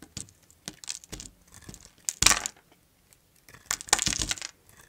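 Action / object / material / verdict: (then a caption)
scrape / solid soap bar cut with a blade / soap / none. A blade slices thin curls and cubes from a solid mint-green bar of soap, making short, dry, crunchy cuts. The cuts are bright and gritty with little low end; the loudest scrape comes just after two seconds and a dense cluster of crunches follows near the end.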